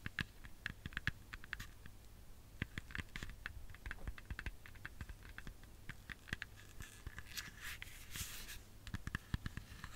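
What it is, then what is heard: Apple tapped and scratched. A whole, solid red apple is held in the hands and tapped and scratched with long fingernails. Quiet, rapid clicks and dry scratching skitter across the skin, with brief bright ticks over a steady low hum. Each tap dies away almost instantly, leaving a dense, close patter.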